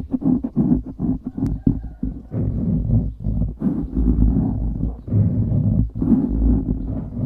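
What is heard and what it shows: Fingertips scratch rapidly on the top and sides of a dark grey foam windscreen on a microphone. The result is a dense, muffled rumble of scratching, heavy in the low end with little high content, coming in quick bursts and longer sustained rubs.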